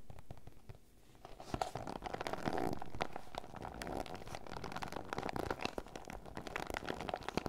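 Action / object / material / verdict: scrape / PVC zip pouch / PVC plastic / none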